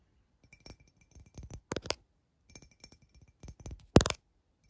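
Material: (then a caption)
Glass. A tall, clear glass drinking tumbler lies on its side, empty and hollow with droplets inside, and is tapped with long fingernails on its side near the rim. The taps are short, dry clicks with a faint glassy brightness that die away almost instantly. They come in quick clusters that grow busier, ending in a louder flurry near the end.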